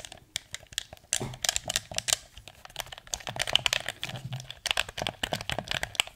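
A hand-sized, hollow, dark blue plastic PS4 controller, held in both hands in front of a microphone, is tapped on its shell with fingertips and short nails while its buttons are clicked. A rapid, uneven stream of crisp, bright clicks and light tapping fills the clip, each sound dying away almost instantly, with little low end.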